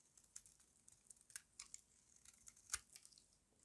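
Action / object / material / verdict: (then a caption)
scrape / bar of soap carved with a small blade / soap / none. A small metal blade with a yellow handle carves and scrapes crunchy flakes from a solid, square, embossed bar of dry white soap held in the palm. The quiet, bright, dry crunches and crackles come in quick irregular bursts with almost no ring, and the loudest scrape lands near the end.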